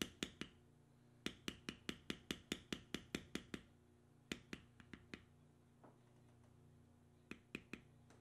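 A metal stamping tool held in the fingers is tapped repeatedly into the carved lines of a tan, vegetable-tanned leather strip with punched holes resting on a stone slab. About two dozen short, sharp, bright clicks come in quick bursts separated by brief pauses, with each tap dying away almost instantly over a faint low hum.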